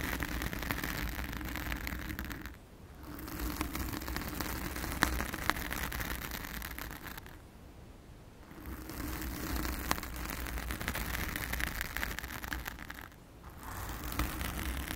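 Long acrylic nails on both hands scratch and rub a soft, porous round blue foam windscreen over a microphone, producing a dense, continuous crackly scraping with a heavy low rumble and a bright hiss on top. The rubbing quiets briefly three times, near 2.7, 8 and 13 seconds, before resuming at steady strength.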